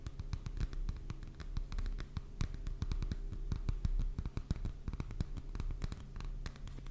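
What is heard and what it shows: Fingertips and nails tap and scratch the glossy paper cover of a closed "Heilsteine" paperback book held in one or both hands. The sound is a rapid, dense stream of short, dry clicks and scratchy strokes over a steady low hum. Each hit dies away quickly.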